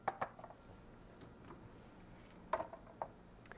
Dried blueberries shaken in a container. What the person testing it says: berries should be dried until they rattle when shaken